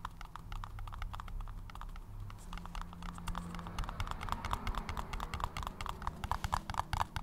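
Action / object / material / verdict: tap / paper cup / paper / none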